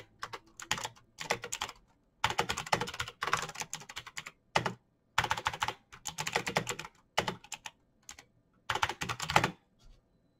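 Fingertips of both hands type rapidly on the plastic keycaps of a backlit black plastic mechanical keyboard with clicky green switches, resting on a desk. Dense bursts of sharp, bright clicks come in quick runs separated by short pauses, each keystroke ringing only briefly with little low-end weight.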